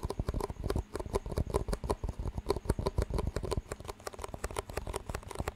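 Fingertips tap and squeeze two identical clear, hollow, empty disposable plastic cups with green rims, and the rims are knocked together. The result is a rapid, uneven stream of short, dull, low-heavy clicks and knocks that die away almost instantly, with little brightness.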